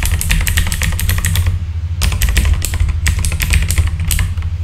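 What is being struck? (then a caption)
Plastic mechanical keyboard keys. Fingertips type steadily on a full-size backlit mechanical keyboard with plastic keycaps, producing rapid, bright clacking keystrokes over a constant deep low hum. The typing briefly stops just before the two-second mark, leaving only the hum, then resumes at the same quick pace.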